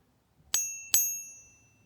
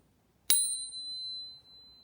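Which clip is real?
The first.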